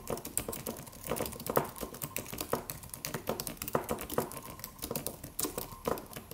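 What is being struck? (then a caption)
Aluminum computer keyboard with plastic keys. Fingertips of both hands type on a slim silver aluminum computer keyboard with white plastic keys and a solid low-profile body. Steady, quick clacks and taps come with a few louder keystrokes. The clicks are short and crisp and die away almost at once.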